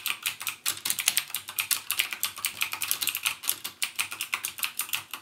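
Fingertips type continuously on a backlit plastic mechanical gaming keyboard with plastic keycaps and Cherry MX Blue switches. A fast, steady stream of crisp, bright clicks rings out, each one dying almost instantly, with almost no low end.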